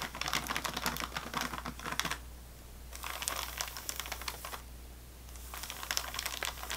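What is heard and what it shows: Long nails tap and scratch an unopened sleeve of saltine crackers in thin plastic or waxed wrap lying on a table. Three bursts of rapid, crisp, bright crinkling clicks are separated by short quiet pauses, over a steady low hum.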